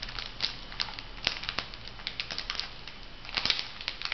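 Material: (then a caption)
Foil. A filled, flat printed foil sheet-mask packet is bent and crinkled by hands, producing a steady stream of sharp, bright crackles and crinkles. Louder snaps stand out over a constant papery hiss, with almost no low end.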